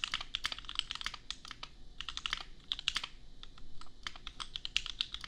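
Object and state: Plastic mechanical keyboard.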